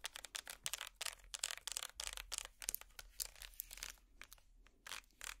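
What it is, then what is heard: Wicker basket scratched. Plastic finger picks scratch a small, empty, hollow woven wicker basket, making quick, dry, crackling strokes that are bright and hissy with almost no low end. The short, quiet bursts come in an uneven rhythm, thinning briefly near the end before a few more scrapes.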